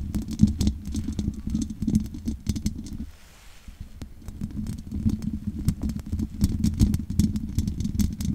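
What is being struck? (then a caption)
Metal mesh microphone grille. Long nails scratch and tap the sides of the hollow metal mesh grille on a large condenser microphone. A dense, low, rattling patter of quick taps and scrapes carries a steady hum near 200 Hz, with sharp bright clicks on top. The sound drops to a quiet lull for about a second, then resumes at full intensity.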